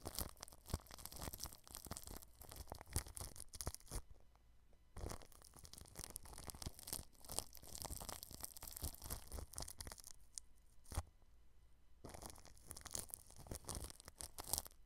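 A small paintbrush tip brushes the plastic cling film stretched over a round microphone from below, making dense, bright crinkling and crackling scratches. The brushing comes in bursts, with quieter pauses where only faint rustling remains.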